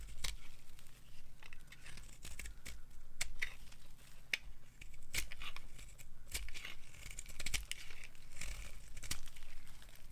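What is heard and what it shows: A hand-sized bar of dry, solid white soap with a black coating is held in the palm and carved with a metal knife, peeling off crumbly shavings. The blade makes repeated dry, crisp scraping and crunching sounds with sharp bright ticks, over a steady low hum.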